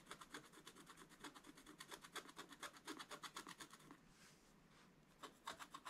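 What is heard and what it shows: A wooden stick scrapes the wax coating near the top of a scratch-art paper page, leaving scraped flakes on the page. Quick, dry, rasping strokes repeat at about two per second, with a bright scratchy hiss over a light midrange body. They pause for about a second of softer rubbing, then resume.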